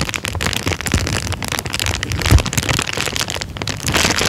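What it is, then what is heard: Clear plastic bag being crinkled. A thin, empty, transparent plastic bag is lifted and crinkled with the fingertips. It makes a steady, dense rustling with sharp, bright crackles layered over soft low thumps of handling, and the sound stays busy throughout.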